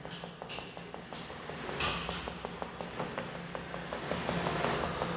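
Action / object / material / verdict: knock / plastered interior wall / plaster / none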